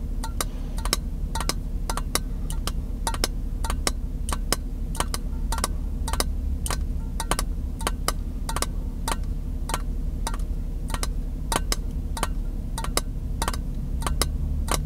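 An empty, clear glass mason jar is held in one hand while fingertips and nails tap and click against the glass near the rim. The result is a run of short, bright clicks at an uneven pace, each dying away almost at once over a steady low hum.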